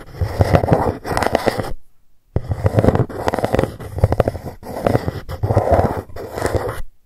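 A long fingernail traces and taps the embossed letters on a dark GUCCI cardboard gift box lying flat. Dense, close scratching and light tapping come in bursts, with a short silent pause near the two-second mark. The tone is soft and low-heavy.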